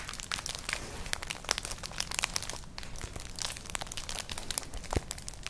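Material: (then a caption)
Straw. Long nails scratch and rub across a flat, colourful, hollow woven straw-like clutch purse. The result is a dense, continuous run of bright, dry crinkling and crackling scratches, full of quick sharp ticks over a soft low rumble, with some strokes briefly louder than the rest.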